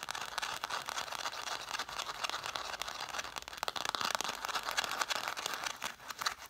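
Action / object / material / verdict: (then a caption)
tap / stack of cloth-bound hardcover books / cloth, paper / none. Long nails rapidly tap and scratch the cloth spines of a solid stack of red cloth-covered vintage hardcover books, set spines forward. The sound is a dense, steady stream of short, dry clicks and raspy scratches, bright with almost no low end and no ring after each tap.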